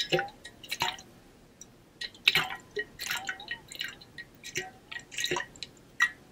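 A partly filled pink-blue ombre stainless steel water bottle is held in one hand and shaken so the water sloshes inside. The result is a run of short, bright, drip-like splashes and glugs at irregular intervals, each dying away almost instantly, with quiet gaps between bursts.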